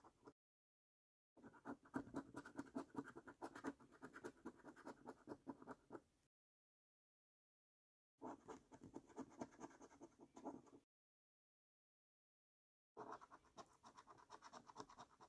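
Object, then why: Cardboard scratch card with latex coating, scratched with a coin. A coin edge scratches the silver latex coating on a flat, thin cardboard paper scratch card. It makes dense, rasping scrapes in several bursts separated by silent gaps, with a mid-range, papery texture.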